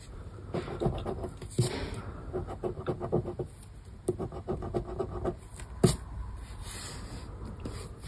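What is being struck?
Paper scratch card with latex coating.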